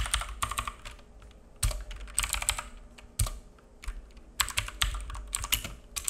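A black full-size mechanical keyboard with plastic keycaps and a hollow case, resting on a wooden desk, is typed on with the fingertips of both hands in irregular bursts of about 26 key taps with short pauses between. Each press gives a quick, bright plastic clack over a low hollow thud that dies away almost at once.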